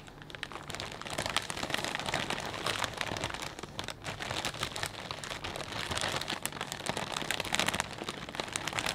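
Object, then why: Clear plastic bag of potato chips. Hands grip and rub a clear plastic bag full of potato chips, making a steady, dense crinkling with bright, crisp rustles and crunches. The texture runs continuously for the whole clip, swelling slightly louder in places without any clear pauses.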